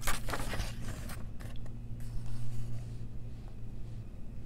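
Long press-on nails trace the printed text and line art of a softcover adult coloring book held open, and turn its paper pages. Quick, bright scratching and rustling bursts come thickest in the first second, then thin out into softer scrapes and page-flip swishes over a steady low hum.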